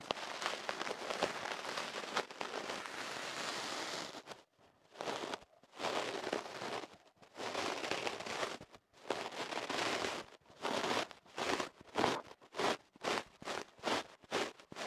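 A thin bamboo ear pick is pushed into the end of a hollow tube of kenaf paper wrapped tightly around a microphone held on a wooden table, scratching and rubbing the paper inside. Dense, bright crackling rustle runs steadily for about four seconds, then breaks into longer scraping bursts separated by brief silences. It ends in a quicker series of short, rhythmic papery strokes.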